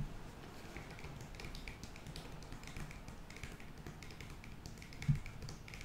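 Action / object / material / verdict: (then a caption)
tap / foil-lined paper sachet / foil-lined paper / none. Long nails tap quickly on a flat, foil-lined paper sheet mask sachet. The result is a soft, steady run of crisp, light clicks over a low background hum, with one slightly louder tap near the end.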